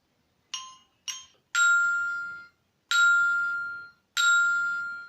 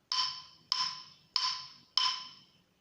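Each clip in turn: First: Three bright, sustained rings near 1.4 kHz, each lasting about a second: a struck metal bar. Second: Four evenly spaced strikes on a wooden plate, each a bright, pitched tone that fades quickly.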